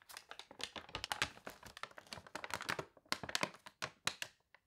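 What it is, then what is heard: Glossy paper catalog pages being crinkled. Long nails rub, press and crinkle the warped glossy paper pages of a thick paper toy catalog. The result is a dense run of quick, bright crackles and crinkles with short, dry decays. Brief quiet gaps break up the texture toward the end.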